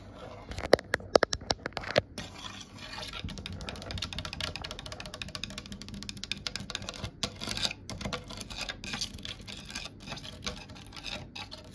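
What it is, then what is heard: Varnished wooden panel. Long acrylic nails tap and scratch along the grain of a large, solid oak-grain wooden cabinet panel with raised grooves and a glossy varnished finish. A few sharp, dry taps open the clip, then give way to a dense, uneven stream of quick scratching and clicking. The sounds stop dead with no ring.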